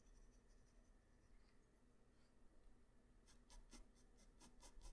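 A graphite pencil tip draws small detail strokes on a flat white paper sheet, first as a faint, steady scratching over a low background hum. In the final two seconds it turns into six short, quick, bright scratching strokes.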